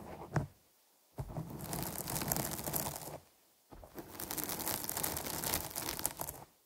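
Long nails scratch the sides of a dark foam microphone windscreen, giving a brief scrape and then two long bouts of dense, crinkly rustling. The scratching has a full low body and bright, hissy highs, with near-silent pauses between the bouts.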